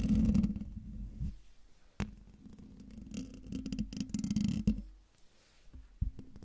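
Fingertips and nails of one hand, then both hands, scratch the hollow metal mesh grille of a silver Blue Yeti microphone. The result is a close, low, rumbling scrape with a steady hum near 215 Hz, broken by sharp taps and quieter gaps. It rises and falls in bursts of varying loudness.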